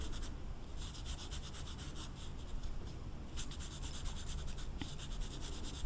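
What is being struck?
Felt-tip marker on velvet-flocked paper card.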